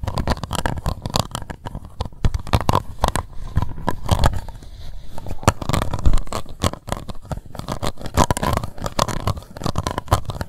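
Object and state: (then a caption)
Plastic cup scratched with nails. Long white nails scratch the ridged base and sides of an empty, hollow, translucent pink plastic cup. Dense, rapid, irregular scratching and ticking runs throughout, dull and low with little brightness, easing off briefly near the middle before picking up again.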